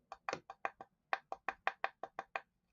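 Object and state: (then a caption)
Solid wrapped object. An unrevealed solid gift object from Western Wagon Works is tapped 13 times in quick, uneven succession. Each tap is a short, dry, mid-pitched knock with almost no ring. The object sounds solid.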